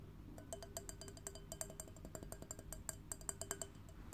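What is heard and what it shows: An empty clear wine glass on a stem, held in one hand, is tapped with long painted fingernails. Quick, irregular taps produce bright, short clinks that ring high, with a soft low hum underneath.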